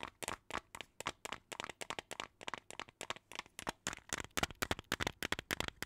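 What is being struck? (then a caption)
Plastic jar filled with plastic beads. Long teal nails tap a small clear plastic jar filled with colorful plastic beads, and the jar is also shaken. The result is a quick, uneven run of about 34 short, crisp clicking taps that are bright and dry with almost no ring, plus a faint rattle of beads between them.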